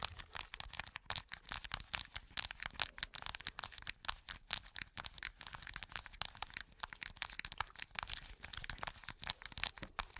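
Long nails scratch and tap a small plastic blister card with hollow bubbles. They produce a dense, continuous run of bright crunching, crinkling and sharp cracking sounds, each very short with almost no ring, and little low end.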